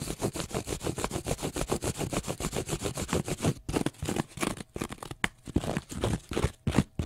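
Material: Cellulose.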